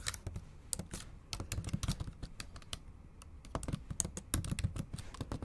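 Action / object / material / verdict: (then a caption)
tap / laptop keyboard with plastic keys / plastic / none. Long acrylic nails type fast on the black plastic keys of a MacBook Pro keyboard set in an aluminum body. The result is a rapid, uneven stream of short, crisp clicks, each with a soft low thump and a bright tick that dies away almost instantly.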